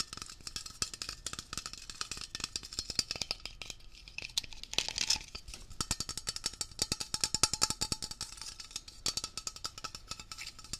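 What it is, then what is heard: Metal aerosol spray can. Fingertips tap fast on a Blue Coral Dri-Clean upholstery cleaner aerosol can, a medium hollow metal cylinder with a blue printed label held in both hands, turning and moving it while tapping. Quick, dry, bright metallic ticks and clicks come in dense, uneven bursts with almost no ring and very little low end.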